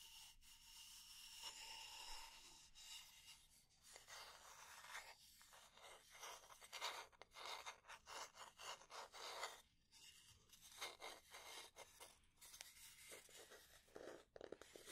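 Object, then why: Wooden spatula. Fingernails rub and scratch across the head and handle of a solid, light wooden spatula. The result is a run of dry, bright scraping strokes with quick pauses between them and almost no low end.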